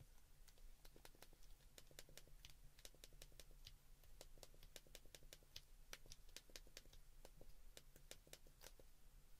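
A white plastic flip phone is held open while fingertips press its keypad buttons one after another. Each press gives a short, bright plastic click that dies away almost at once, over a steady low hum.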